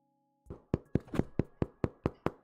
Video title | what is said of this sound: 【 Virtual Bakery 】RECIPE RETCON! Brioche, Milk Bread, Challah... Sourdough? So much bred pt.1 | it's Hollow sounding so it is most likely cooked